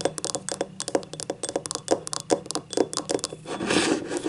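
Long nails tap and scratch the labeled base and outer wall of a small, hollow, empty yellow ribbed ceramic cup. About 19 quick, dry clicks with a brief hollow tone around 400 Hz fall in a fast, uneven rhythm, each dying away almost at once. The clip ends with a steady, bright rasping scratch across the ribbed surface.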